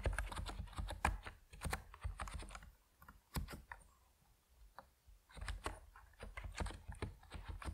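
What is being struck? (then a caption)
Plastic mechanical keyboard with PBT keycaps. Fingertips type steadily on an Epomaker NiZ Plum Atom 68, a compact plastic mechanical keyboard with white and purple PBT keycaps. Quick runs of short, deep, muted key clacks with bright clicky edges come in bursts. Brief pauses fall in the middle before the typing picks up again.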